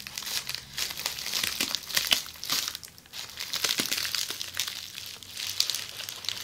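Long polished fingernails scratch and squeeze an upright roll of red plastic bubble wrap. The result is a continuous bright crinkling and rustling with quick scratchy bursts, swelling and fading in waves and nearly no low end.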